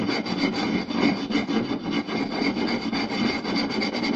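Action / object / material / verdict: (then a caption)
scrape / round wooden plate / wood / none. Short nails and fingertips quickly scratch and tap across a round, solid wooden plate with a raised rim. The result is a continuous, dense, rasping scrape with fast, uneven pulses of tapping. Its body sits in the low mids, with a brighter, hissy edge on top.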